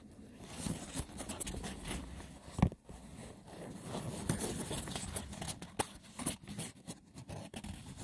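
Fingertips and short nails scratch rapidly over the woven top of a hollow, braided seagrass wicker box. The result is a dense, low, rustling scrape with occasional sharper clicks standing out, one louder hit near the middle.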